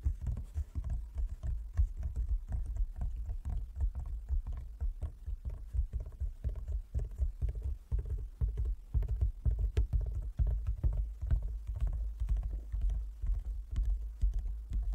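Fingertips tap near the top edge and across the squares of a large, closed, hollow wooden folding chess board. The taps are soft, dull and low, with short, hollow thuds falling in a quick, uneven patter that dies away almost at once.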